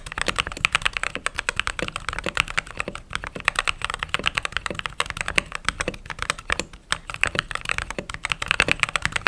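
A white/cream mechanical keyboard with plastic keycaps is typed on steadily with fingertips and long nails. The result is a fast, continuous run of crisp, bright clacks that stop short with no ring and little low end.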